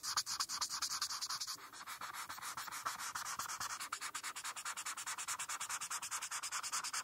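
A hand with long painted nails rubs a felt-tip marker back and forth across a flat printed paper coloring page on a dark surface while coloring a rainbow. A rapid, steady run of dry, bright scratchy strokes comes through, each a short hissing rasp.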